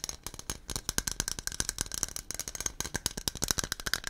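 A white aluminum aerosol can with a blue cap and a silver metal base, hollow with a mixing ball inside, is held in both hands and shaken near the microphone. About two dozen quick, bright metallic rattles and clicks follow one another in an uneven, rapid rhythm. Each click dies away almost instantly, with little low-end weight.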